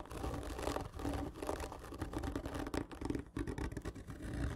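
Long fingernails scratch hard and slow along a large, hollow, black printed cardboard whisky gift tube lying horizontally, with one hand leaving the frame at the end. The scratching makes continuous rough rasping strokes over a low, hollow body resonance, with brief dips between strokes.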